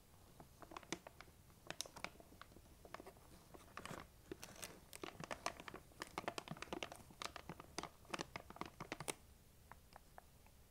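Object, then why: Plastic candy bag. Long nails scratch and crinkle the front of a large, printed plastic M&M's candy bag that appears full. A dense run of sharp, bright crinkles and crackles comes in clusters, with short, dry snaps that die away almost instantly over a low, quiet background.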